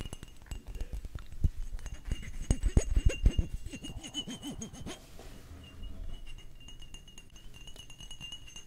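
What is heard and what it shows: Glass perfume bottles from a perfume collection are tapped in quick, irregular succession, giving light glassy chinks and clinks with a faint high ring. The tapping is busiest and loudest in the first half, then settles into softer, sparser clicks.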